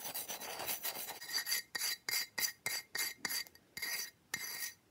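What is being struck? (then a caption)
Slab of ice. Fingertips and nails scratch and tap the surface and edge of a large, flat slab of solid frosted ice, held up and resting on a towel. Bright, rasping scrapes run almost continuously at first, then break into quick, separate bursts with silent gaps between them. The sound is dry and high, with almost no low end and very little ring.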